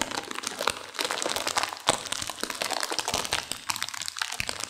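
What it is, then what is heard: Sealed instant noodle packet being crushed. A sealed plastic instant-noodle packet with dry noodles inside is squeezed and crinkled by hands and long nails to crunch the noodles. A dense, bright stream of plastic crinkling is heard, with sharp, dry crackles and crunches that stop instantly, and almost no low end.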